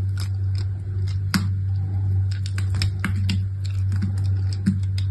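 A small, solid, partly carved lilac-and-white striped bar of soap, held in a hand with long red nails, is scraped and cut into thin curls by a utility knife with a metal blade and orange handle. The result is a run of crisp, dry scratching and scraping ticks, closer to scratching than tapping, over a steady low hum.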